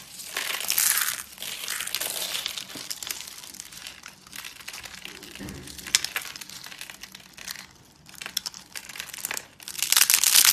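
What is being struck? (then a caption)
Thin curled soap layers. Fingertips and thumbs press, peel and crush a palm-sized spiral of thin, dry, bright pink soap layers into brittle flakes on a white surface. Dense, bright crinkling and crunching crackle in rapid bursts, swelling loudest near the start and again at the end with quieter stretches between.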